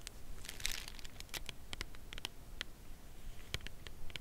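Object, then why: Cardboard chocolate bar box. A full Lindt Creation cardboard chocolate bar box is held upright in both hands while long nails tap and scratch its printed cardboard face. Quick, dry, bright clicks mix with brief crinkly scratches over a soft low background rumble. Each tap dies away almost at once.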